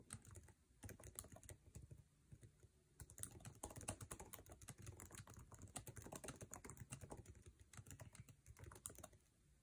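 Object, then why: Plastic laptop keyboard. Fingertips of both hands type fast on the backlit, low-profile scissor-switch keyboard with plastic keycaps of an aluminum MacBook Air resting on a table. The result is a dense, continuous stream of quick tapping clicks, each with a soft low thud and a brief bright click that dies away almost instantly. The taps run steadily for nearly ten seconds.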